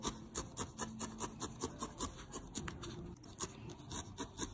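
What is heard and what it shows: A small, solid grey-lilac needle-felted wool ball, held in the fingertips, is stabbed over and over with a thin steel felting needle. The result is a steady, rapid run of soft rasping, rubbing stabs, each a short, bright scratchy burst over a low, dull fibrous rustle.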